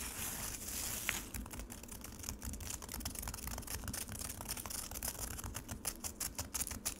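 Long acrylic nails on both hands tap and scratch rapidly across a solid frozen lemonade slab in a black rectangular plastic tray. It opens with about a second of steady, bright scratchy hiss, then breaks into a quick run of sharp, crisp clicks and short scrapes. Each sound dies away almost at once over a faint low rumble.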